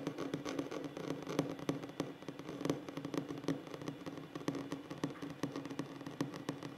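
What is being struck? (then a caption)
Flat wooden tabletop. Short fingernails of both hands rapidly tap and scratch a flat, solid wooden tabletop. The result is a quiet, dense patter of short, dry clicks over a soft scratching rustle, with a steady low-mid resonance from the wood under the taps.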